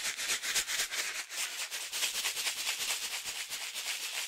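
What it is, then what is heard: Coffee-filled foil-laminate bag. A foil-laminate coffee pouch filled with coffee is held in one hand and shaken vigorously side to side. It produces a steady, bright crinkling rattle of foil and shifting contents, almost entirely in the high frequencies, with rapid pulsing throughout the four seconds.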